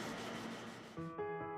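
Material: Nothing is struck.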